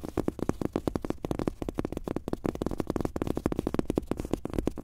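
Fingertips and short nails of both hands tap fast on a large, thin, soft but solid fabric-top rubber mouse pad with a world map print, lying flat on a desk. The result is a rapid, continuous patter of dull, muffled thuds centred in the low-mid range, with almost no bright content. Each tap dies away almost instantly.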